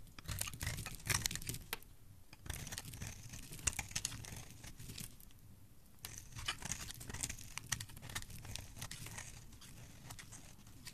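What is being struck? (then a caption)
Bar of soap. A solid pink-red oval bar of soap, held in the hand, is carved and scraped with a blade, and curls of soap fall onto a pile. Dry, crisp scraping and crinkly, tearing bursts come in close clusters, each cut a bright, sharp rasp over a soft low rumble. Brief quieter pauses fall between the runs of strokes.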